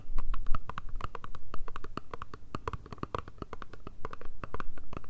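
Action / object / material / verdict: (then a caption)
tap / small cardboard box / cardboard / none. Long red nails tap and scratch a small, hollow, rectangular black Chanel cardboard perfume box with a foil side. The result is a rapid, irregular stream of short, dry taps with a hollow low thump and crisp clicks, each dying away almost instantly.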